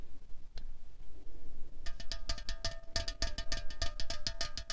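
A 0.33 L Coca-Cola Cherry aluminium can, held on a tablecloth with its fill not visible, is tapped with long fingernails. After a quiet stretch with faint rustling and a single click, a quick, steady run of sharp, hollow taps begins. Each tap has a short metallic ring with clear mid tones around 650 Hz and 1.2 kHz plus a bright, crisp edge.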